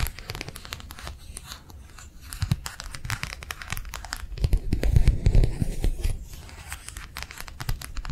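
A thin, flexible matte plastic sheet is held in both hands and tapped rapidly with long nails. The result is a dense, uneven patter of short, dry clicks with a crinkly, crackling texture and a heavy low-end thump. It swells louder in the middle before settling back.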